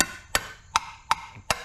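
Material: Steel.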